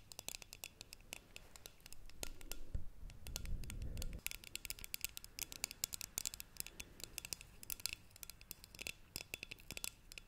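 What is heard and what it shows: A hollow green metal tea canister is turned in the hands and scratched and tapped with long nails, including on its lid and base. Quick, bright clicks and scratchy ticks come in dense bursts. Around the middle, a low rumbling swell of handling noise briefly rises, then fades back to crisp tapping.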